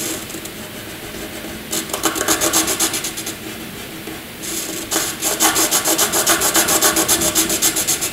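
A wooden graphite pencil shades small rectangles on white paper with rapid back-and-forth scratching strokes. A faint, steady scratch gives way to two bursts of quick, rhythmic, bright rasping: one around the second and third seconds, and a longer, louder run through the end.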